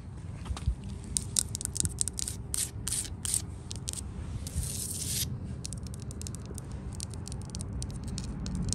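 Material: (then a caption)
Painted wood. Long nails tap and scratch the top rail of a white-painted solid wooden porch railing with balusters, with a hand resting on the rail. Quick, bright clicks and scrapes come in bursts, with one longer, hissing scratch near the middle, over a steady low rumble that runs throughout.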